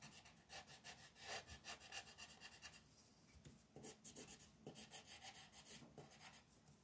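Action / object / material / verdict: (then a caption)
scrape / wooden colored pencil on a paper sheet / paper / none. A yellow wooden colored pencil is rubbed in rapid back-and-forth shading strokes across a flat white paper mandala sheet resting on a table. The strokes make a bright, dry rasping scratch in quick rhythmic bursts, ease off briefly around the middle, then resume in the same steady pattern.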